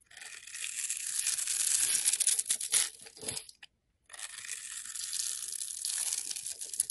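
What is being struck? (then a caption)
Bar of soap cut with a blade. A blade cuts and scrapes small cubes from the pre-scored surface of a solid rectangular yellow-orange soap bar held in hand. Dense, bright, crisp scraping and crunching fills the first three and a half seconds, breaks off into a short silence, then resumes as a steady scrape to the end.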